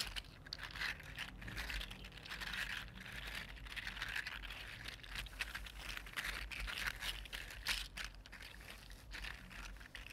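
A regular-size, red-gold, 3D printed plastic articulated slug lies on a table while one hand wiggles it with the fingertips. Its jointed segments click and slide on the surface in a dense, steady stream of bright, crinkly ticks over a faint low hum. The clicking continues without a break for about ten seconds.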